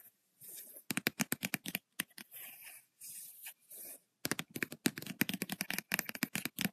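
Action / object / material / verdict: tap / spiral-bound paper notebook / paper / none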